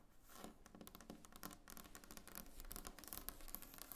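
Long painted nails tap rapidly on a large, solid, glossy varnished wooden tabletop. The quiet, dense run of short, dry clicks and light scratches carries bright high edges over a low, soft undertone, with each tap dying away almost instantly.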